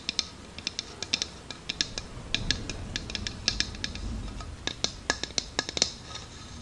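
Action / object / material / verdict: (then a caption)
tap / plastic drinking cup / plastic / none. Long dark-painted nails tap and scratch all around the ribbed sides of a hand-sized, hollow, empty translucent green plastic drinking cup. About thirty sharp, bright clicks arrive in an uneven series, each dying away almost instantly. A softer, rougher scratching fills the middle of the clip.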